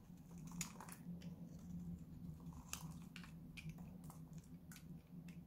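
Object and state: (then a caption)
Bar soap cut with a knife. A metal knife blade repeatedly cuts and scrapes a solid pink bar of dry Lux soap. Soft, dry crunching and scraping strokes come with sharp bright clicks over a steady low hum. The sound stays quiet throughout.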